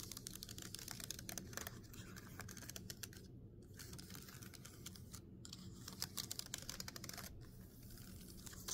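Several fingertips tap and drum in a typing motion on the plastic keys of a backlit laptop keyboard. The result is a quiet, rapid stream of short, bright clicks with brief pauses, over a steady low hum.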